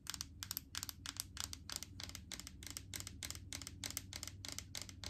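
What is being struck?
Plastic jar filled with solid coconut oil.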